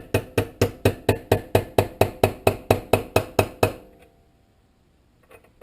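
A new brass throttle shaft bushing is tapped into the carburetor body of a 1947 Farmall M with sixteen steady, evenly spaced taps, each a short, low, dull knock that rings briefly. The lower tone shows the bushing has not yet bottomed out on its seat. After a pause, two faint taps follow.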